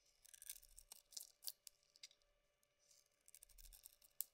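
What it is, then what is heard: Bar of soap being scraped. A pink Avon soap bar with its white core exposed, solid and held in the hand, is scraped with a metal blade, giving a series of quiet, dry, bright scraping and shaving strokes with very little low end. The strokes come in irregular bursts with short pauses, ending on a sharper final scrape.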